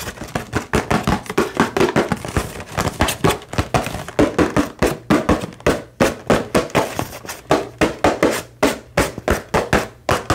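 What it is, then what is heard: Cardboard controller box. A small, hollow cardboard retail box for an Xbox controller, with a clear plastic window on top, is held and rotated while being tapped rapidly with fingertips and nails. The result is a fast, uneven stream of short, hollow, papery taps and thunks centered in the midrange, each dying away almost at once.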